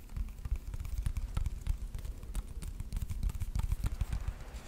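Fingertips and nails tap and scratch the top and sides of a small rectangular wooden box, likely hollow, held in both hands. Quick, irregular, dull low knocks come in rapid succession with faint scratchy texture between them, each tap dying away almost instantly.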